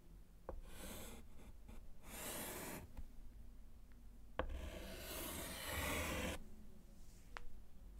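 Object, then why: Small wood-framed slate chalkboard with chalk. A gloved hand writes HELLO on a small, flat, solid wood-framed slate chalkboard with a short orange chalk stub. Bursts of bright, gritty scratching drag across the slate, separated by short pauses and punctuated by sharp taps as the chalk meets the board, over a low background rumble.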